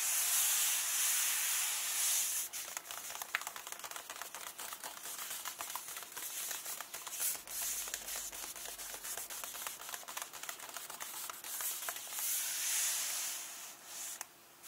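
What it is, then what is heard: Paper book pages tapped and rubbed. Fingernails tap and rub across both pages of an open hardcover book, one page bearing an illustration and the other text. Soft, bright, airy rubbing at the start and end frames a middle stretch of quick, dry, papery taps in a loose rhythm, with no low-end body.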